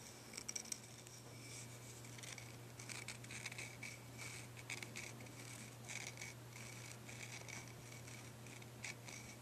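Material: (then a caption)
Antler. Fingernails scratch the pale cut end and the body of a thick, solid deer antler dog chew. The result is quiet, dry, bright scratching rasps in short, uneven bursts over a steady low hum.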